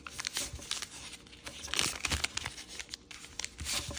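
Thin green and red patterned origami paper is folded and pressed flat with fingertips on a wooden table. It makes crisp, bright crinkling and rustling with irregular short crackles and soft taps, each dying away almost at once.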